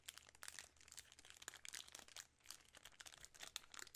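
A full 3 Musketeers bar in a shiny plastic film wrapper is crinkled and scratched with long nails. Dense, quiet crinkling and crackling fills the clip, bright and high with almost no low end, and each sharp crackle stops almost instantly.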